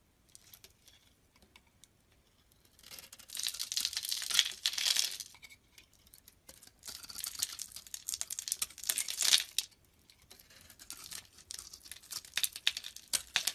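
A knife blade scrapes and carves flakes off the surface of a solid white bar of soap held in the hand. It makes dry, bright, crinkly scraping in several swelling bursts with short quiet gaps between strokes, with almost no low end.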